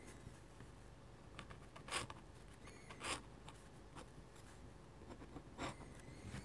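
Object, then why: Metal dip-pen nib on drawing paper. A metal-nib dip pen scratches short vertical strokes on a sheet of flat white drawing paper. Quiet, bright, scratchy strokes come at an uneven pace, a few of them louder and sharper, over a soft low background hum.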